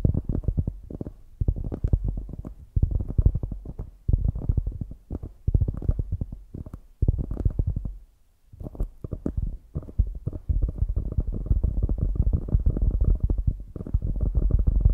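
Long grey nails scratch and tap the top of a solid polyurethane foam squishy donut while fingers press the foam. The result is close, low, muffled scratching and soft tapping in dense bursts, with a brief near-silent pause midway before the scratching continues steadily to the end.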